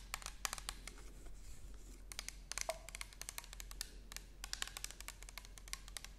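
Long nails tap and scratch across an orange plastic toner bottle with a barcode label, held horizontally. Quick, dry, bright clicks come in irregular bursts that die almost instantly, with soft scratchy rubbing between them over a faint steady low hum.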